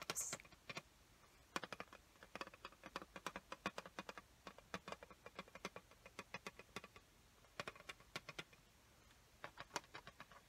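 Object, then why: Clear plastic lid of a watercolor paint set. Long fingernails tap and scratch on the clear plastic lid of an opened watercolor paint set. The result is a quiet, irregular run of sharp, bright clicks that die away almost instantly, with a brief high scratch near the start.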